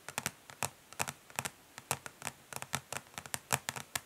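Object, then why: Plastic eyeshadow palette. Long nails tap quickly but gently on the underside of a flat, rectangular, hollow plastic eyeshadow palette, then on its embossed front lid after it is flipped over. About 23 short, crisp, bright clicks with almost no ring are heard, separated by quiet gaps, with a faint hollow body beneath.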